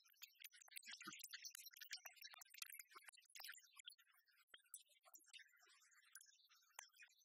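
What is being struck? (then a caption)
Plastic speaker dock. Long red nails quickly tap and scratch along the top and glossy side of a small, hollow, black plastic iHome speaker dock resting on a wooden table. The result is a quiet, dense run of dry, bright clicks and scrapes with almost no low end, each tap stopping short with no ring.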